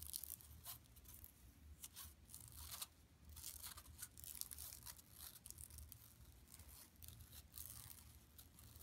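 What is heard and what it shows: Long nails scratch across the mesh and sides of an empty, flat yellow woven plastic mesh tote bag lying on carpet. The result is quiet, bright, raspy scratching in irregular bursts over a steady low hum.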